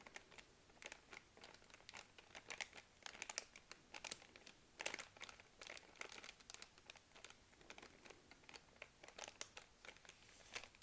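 A full, soft plastic-film pack of baby wipes lying on a laptop is pressed, rubbed and tapped by a hand with long nails. It gives a quick series of bright, dry crinkles and crackles with almost no low end, and each burst dies away at once.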